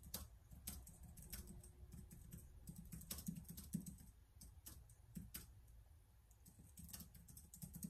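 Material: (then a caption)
Plastic. Fast fingertip typing on the keys of a black plastic laptop keyboard, heard as a rapid stream of soft, bright clicks over a low rumble. The taps are quick and short, with occasional sharper keystrokes standing out.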